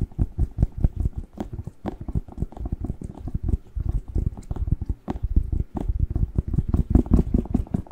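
Fingertips and nails rapidly tap and scratch the glossy skin of a whole, fresh, hand-sized red bell pepper with a green stem, hollow inside. The result is a dense, continuous patter of short, dull, low thumps with almost no ring, steady in loudness throughout.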